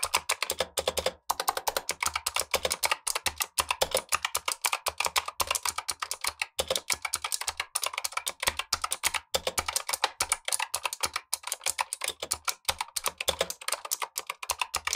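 Gloved fingertips type steadily on a black tenkeyless Razer Huntsman V2 mechanical keyboard with clicky switches and plastic keycaps, while the upper keyboard sits idle. The result is a rapid, continuous stream of crisp, bright clicks that cut off almost instantly, with very little low end.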